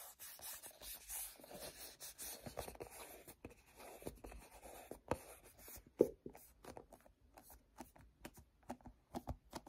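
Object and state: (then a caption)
Plastic cosmetic squeeze tube. A hand-sized, cream-colored plastic lotion tube, hollow and partly filled, is gripped and rubbed with fingertips and short nails. Soft, continuous rubbing and scratchy friction fill the first half, then a sharp grip crackle gives way to a run of short, separate sticky-finger taps and peels. The sounds are quiet and dry, with little ring after each contact.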